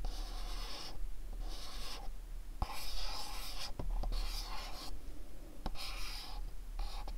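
A fingernail taps and scratches the top and sides of a small, cube-shaped, dark printed cardboard candle box held in the hands. Bursts of bright, papery scratching alternate with quieter stretches, broken by a few sharp, dry taps. A steady low hum runs underneath.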